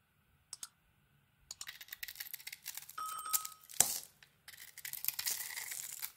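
A hand-sized solid bar of soap with a glittery dark coating is held in one hand and carved and scraped with a small metal blade, peeling off curls to reveal white soap underneath. Bright, crisp scraping and crackling come in short bursts after a couple of faint early clicks, with a sharper snap near the middle before the scraping resumes.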